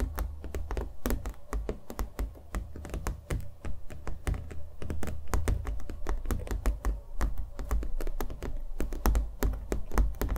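A small stretched canvas coated in thick acrylic paint, hollow behind and held in the hands, is tapped rapidly with fingernails and given light thunks. The result is a dense stream of short, dry clicks and soft, low, hollow knocks with almost no ring. A steady low hum sits underneath.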